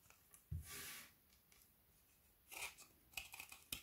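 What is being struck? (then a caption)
Frozen milk chocolate bar scraped with a knife. A kitchen knife repeatedly scrapes along the edge of a solid frozen Figaro milk chocolate bar with hazelnut filling, held upright in one hand, shaving brittle curls that pile onto a wooden table. A low thump opens into a bright, hissing scrape, followed by a second scrape and a run of crisp, sharp clicks and snaps.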